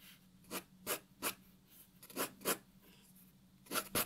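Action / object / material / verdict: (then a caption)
scrape / graphite pencil on a paper sheet over a wooden table / paper / none. A graphite pencil draws on a white paper sheet resting on a wooden table, making scratchy strokes. Seven short, bright bursts stand apart at an uneven pace, with quiet gaps between them.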